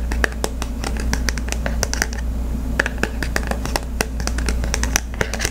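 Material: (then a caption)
Cardboard. A small, flat Visa gift card in its glossy cardboard holder is held in one hand while the fingertips and nails of the other hand scratch and tap its printed surface. The result is a quick, uneven stream of crisp, bright clicks and scratchy rasps over a steady low hum.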